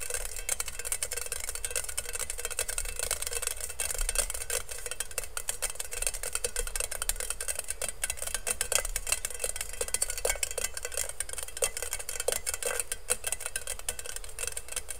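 Fingertips and nails rapidly scratch and tap the perforated metal surface of a hollow, empty stainless steel colander held in both hands. The result is a dense, continuous stream of quick, bright metallic ticks and scratchy rasping with short, dry decays and a faint low rumble underneath throughout.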